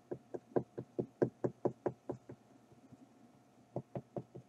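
Fingertips and nails knock and tap the painted surface of a flat, rectangular stretched-canvas Eiffel Tower print on a wooden frame, lying on a dark surface with a hollow space behind the canvas. Fifteen short, dull, hollow knocks come in a loose rhythm, eleven in a quick run, then a pause filled with faint soft taps, then four more. Each knock dies away almost at once.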